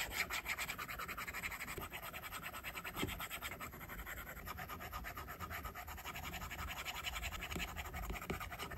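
A plastic stylus tip draws on an iPad's glass screen in short, rapid, scratchy strokes while the other hand's fingertips rest on the glass. The result is a steady stream of bright, dry scratching ticks with a few slightly louder taps.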